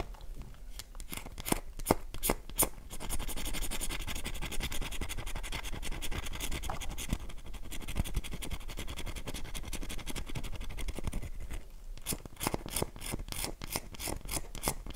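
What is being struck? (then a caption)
Bar of soap. A solid, oval, light-blue dry bar of soap is held in the palm while long nails scratch and scrape its surface, sending crumbs falling. Sharp, dry, quick tapping clicks at the start give way to a steady, brittle scratching texture, and the crisp clicking taps return near the end.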